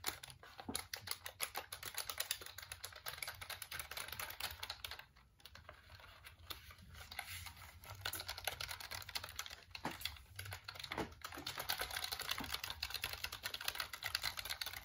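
Fingertips press and tap the keys of a black plastic full-size computer keyboard held up close, making a rapid, continuous stream of short, dry, bright clicks. The typing eases briefly around the middle of the clip, then picks back up with steady clicking to the end.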